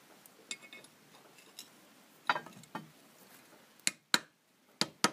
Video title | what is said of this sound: Замена подшипника ступицы на Оке без пресса | Чувствуешь, что звук другой, да? Что подшипник уперся?